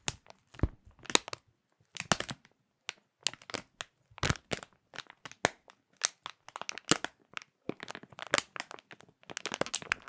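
Fingers crush and crinkle a clear printed plastic bag holding a small food item. The result is a rapid run of sharp, bright crackles and crinkles in short bursts separated by brief silences, with a dry, quick finish and no ringing.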